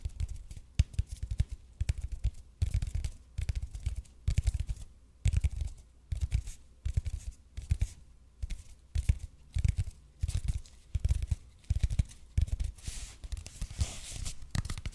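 Fingernails scratch the surface of a red and white speckled expanded polypropylene (EPP) foam roller held in both hands close to the mic. Bursts of quick, dry scratching strokes come in irregular clusters, each with a soft low thump and a brief bright crackle. Toward the end the scratching turns into a denser, continuous rasp.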